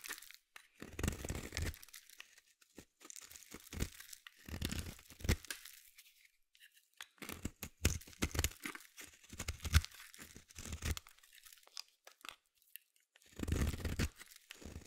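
A solid purple bar soap is shaved with a metal utility blade in repeated scraping strokes. Each pass makes a dry, crisp rasping that runs from a low thud up into bright, crackly texture, coming in bursts separated by short quiet gaps.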